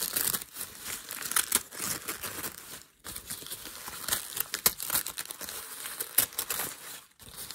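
Fingers pinch and scrunch a piece of crumpled thin grey packing paper on a desk. The result is a steady stream of bright, dry crinkling and crackling with almost no low end, broken by brief quiet pauses around three and seven seconds.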